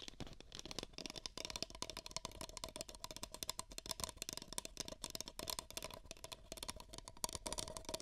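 Two identical empty, hollow beige paper cups are tapped and scratched with long nails over the mic ears, giving a fast, dense run of dry, papery clicks and scrapes. The taps are bright and crisp with almost no ring, and a faint hollow tone sits near 965 Hz throughout.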